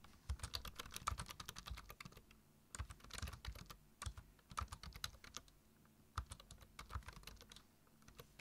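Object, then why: Plastic computer keyboard. Fingertips type on a black plastic computer keyboard, tapping its keys in quick bursts with short pauses between. Each keystroke gives a dry, short click with a soft low thump beneath a bright tick, leaving a steady, rhythmic typing patter.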